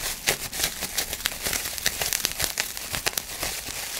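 A large sheet of clear plastic bubble wrap is held in both hands while fingers crinkle and pinch the bubbles. A steady, bright crinkling runs throughout, broken by many short, sharp snaps that die away almost instantly, with little low-end body.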